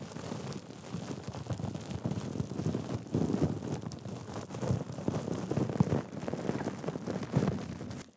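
Fingers grip, crumple and scratch a small pink fabric handbag covered in embroidered sequins and beads. A dense, continuous rustle of crinkling and scratching comes in uneven swells, with most of its weight low and soft and little bright edge. It ends in a brief fade.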